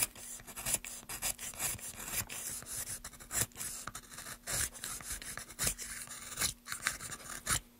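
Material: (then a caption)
Wood. A solid pale wooden block, held upright in a gloved hand, has its surface scraped quickly with a small tool in a rapid run of short, dry rasping strokes. The scrapes are bright and airy with very little low end, and a faint steady low hum sits underneath throughout.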